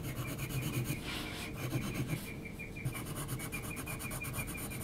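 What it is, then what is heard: Textured paper sheet. An HB graphite pencil is rubbed and scratched across a large flat sheet of heavy textured mixed-media paper while shading around an eye. The clip is made of quick, dry, scratchy strokes in an uneven rhythm, with a soft low rasp and bright, hissy texture, plus a faint steady tone underneath.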